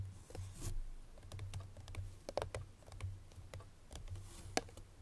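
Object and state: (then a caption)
Paperboard perfume box tapped with fingernails. Long fingernails on both hands tap rapidly on the front face of a small, hollow, unwrapped cream-colored Chloé paperboard perfume box. The result is a quick flurry of light, dry, clicky ticks with bright edges and almost no ring, heard over a steady low hum.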